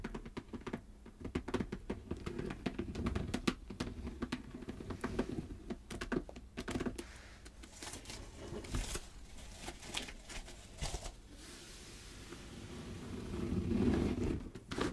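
Long red nails scratch and tap across the surface of a glossy dark red snakeskin leather clutch bag lying flat. The result is an irregular, quick patter of soft clicks and dry scratching. A duller, fuller rubbing swell comes near the end.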